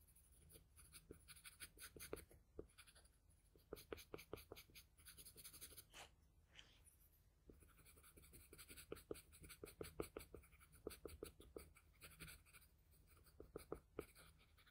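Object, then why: Graphite pencil on a sheet of drawing paper. A wooden graphite pencil held in the fingers scratches many short, quick strokes across a flat sheet of drawing paper on a table while shading the eye area of a drawing. The quiet, dry scratching comes in rapid bursts with bright, papery texture, with a brief pause partway through before the strokes resume.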